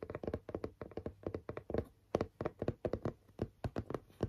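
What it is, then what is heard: Cardboard panel tapped with fingernails. Long nails tap and scratch the face of a flat grey chipboard panel with a pink stitched border, held in both hands. Around 23 quick, dry, hollow taps land in a loose, uneven rhythm, each dying away almost instantly. Their body is low and mid-pitched, with faint scratchy texture between them.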